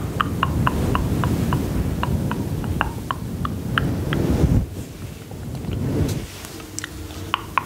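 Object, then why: Synthetic fur microphone windscreen. Long nails and fingertips scratch and rub a small, grey, fluffy faux-fur windscreen covering a hollow microphone body. The result is a dense, low, rumbling scratch layered with quick, sharp clicks around 1 kHz. After about four and a half seconds it drops to softer, quieter rubbing with occasional bright ticks.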